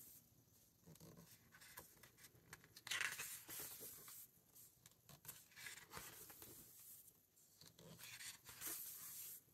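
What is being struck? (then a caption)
Hardcover book paper pages. Fingertips flip the glossy and matte paper pages of a large open hardcover book and smooth them down. Bright, papery rustles and swishes rise and fade in bursts, with a sharp crinkling peak near three seconds and quieter brushing between turns.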